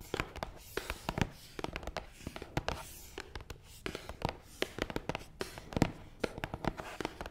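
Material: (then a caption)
Cardboard. Long nails tap fast on top of a long, hollow, black matte cardboard box. The result is a quick, irregular run of short, dry clicks with a soft hollow low thump under them. Each tap dies away almost at once.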